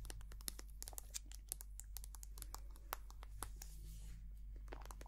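Long painted nails tap and scratch a small, white, soft plastic squeeze tube of hand cream, hollow and filled with cream. Quick, sharp, bright clicks mix with crinkly scratching over a steady low hum. The sound stays quiet and close, and each tap dies away almost instantly.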